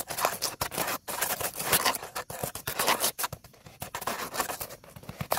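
Dark stiff-bristled brushes held in both hands scrub quickly over a solid, dry, upright wooden tree stump outdoors that is weathered, cracked and dead. The result is a fast run of rough, bright, hissy scratching strokes, each short and dry with no ring, broken by brief pauses.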